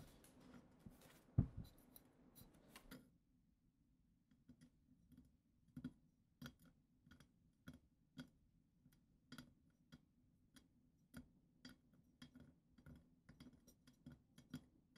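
Long acrylic nails tap and scratch the solid, glitter-coated glass foot of a clear goblet. After a brief rough, scratchy opening, the clip settles into a steady run of quiet, sharp, bright clicking taps with very short ring over a low, soft background hum.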